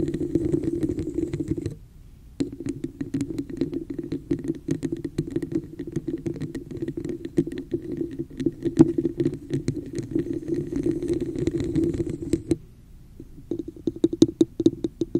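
Long fingernails rapidly tap and scratch the sides and top rim of a hollow, textured red plastic cup with a raised pattern, held over the microphone. A dense stream of crisp clicks and scratchy rasps rides on a hollow, resonant tone around 330 Hz, with two brief pauses. The clip ends with sharper, more separated taps.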